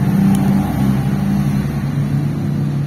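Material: Nothing is struck.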